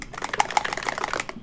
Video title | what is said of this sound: Let's Talk Sunscreen (Best of 2021) | when you shake it up you can hear it kind of rattle around in there